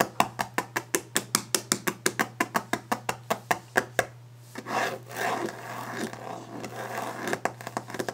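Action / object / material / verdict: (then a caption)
tap / varnished wooden desk top / wood / none. Long orange-painted fingernails tap fast and hard on a large, solid, varnished wooden desk top, making a rapid run of short, dry, bright clicks over a faint low steady hum. The tapping breaks into a burst of rasping scratches across the wood, then quick tapping picks up again at the end.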